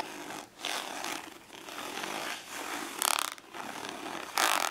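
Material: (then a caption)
Plastic. Long nails scratch and tap the textured lid of a small, hollow, glossy orange ridged plastic storage case lying flat on paper. Dry, bright rasping scratches come in bursts with short pauses, and two louder, sharper scrapes stand out near the end.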